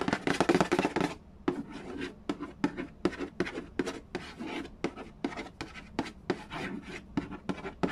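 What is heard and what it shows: Fingernails rub and scratch the lid of a hollow cardboard Yahtzee board game box near its bottom edge. A dense, rasping burst of scratching in the first second gives way to a quick series of short, dry strokes with bright, papery texture and no ring.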